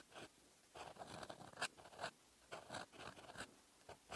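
A metal fountain pen nib scratches across a flat lined paper notebook page, writing in red ink. The sound is a quiet, dry scratching in short bursts of strokes separated by brief pauses, with bright, papery high edges and almost no low end.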